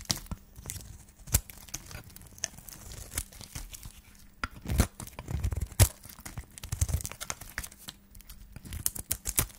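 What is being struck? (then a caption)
Bar of soap shaved with a metal blade. A solid white dry soap bar, held in the hand, is shaved along its face with a flat metal blade. Short, dry scraping and tearing crackles come in an irregular run, with bright sharp snaps over soft, low thuds. Each stroke stops almost at once with no ring.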